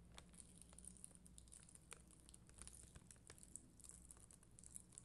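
A plastic spoolie brush is scratched across the red and clear acrylic gems of a rhinestone sticker sheet on white backing. It makes quiet, steady crinkly scratching with dense, bright ticks and crackles over a faint low hum.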